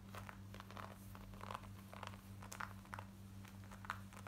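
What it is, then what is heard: Denim jeans scratched with nails. Long nails scratch quickly over the front pockets and waistband of light grey cotton denim jeans worn on the body. Quiet, dry rasping strokes come in rapid, uneven bursts over a steady low hum.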